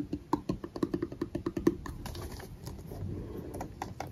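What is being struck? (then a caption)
Plastic bottle partly filled with liquid. A medium clear plastic bottle of micellar water with a white cap, partly full of liquid, is tapped and scratched with fingertips and short nails. A quick run of short, hollow taps with a mid-pitched knock around 340 Hz fills the first half. It then gives way to a softer, continuous scratching hiss with a few light taps near the end.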